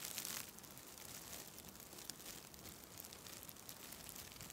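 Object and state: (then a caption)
Nylon mesh bath pouf. A white nylon mesh shower pouf is pressed against the side of a microphone and squeezed and rubbed by fingers with long red nails. The result is a steady, bright crinkling texture with a slightly louder burst at the very start.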